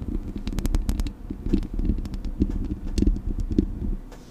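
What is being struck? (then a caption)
Metal mesh microphone grille. Fingertips and nails scratch the hollow metal mesh grille of a Blue Yeti microphone. The result is a dense, boomy, low-heavy rumbling scrape studded with quick sharp ticks and brief bright clicks. It swells and dips in uneven bursts for the whole clip.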